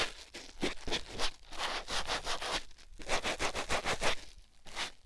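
A white foam sponge block held in fingers is rubbed against a silicone ear microphone. It makes a steady run of soft, scratchy rubbing strokes with a bright, airy hiss over a low rumble.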